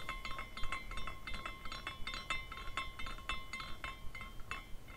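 Fingers spin the top of a small glass carousel figurine, and its glass pendants clink against each other in a quick, uneven stream of bright tinkles. A steady tone rings near 1 kHz beneath a low rumble.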